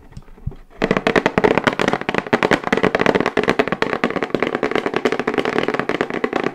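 A hollow, medium-sized plain brown cardboard box, held and tilted in the hands, is tapped rapidly with long white acrylic nails. After a brief quiet start, a dense, continuous stream of short, dry, crisp clicks runs to the end, with a hollow mid-range tone.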